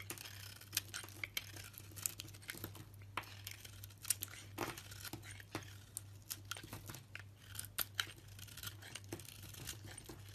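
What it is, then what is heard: Bar of soap being shaved. A knife shaves thin flakes from a solid, rounded bar of soap with a green striped coating and a pale yellow core, held in the hand. Quiet, crisp scraping and tearing sounds come in quick, bright bursts, with sharper cuts popping out now and then. A steady low hum runs underneath throughout.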